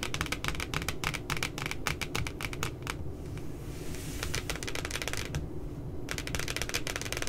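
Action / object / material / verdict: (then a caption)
tap / spiral notebook with laminated cardboard cover / cardboard / none. Long glittery nails tap and scratch the glossy laminated cardboard front cover of a spiral-bound paper notebook printed with two puppies, lying flat and solid. Rapid, crisp clicking taps come in dense bursts over a steady low rumble. A softer scratching stretch around the middle breaks up the tapping.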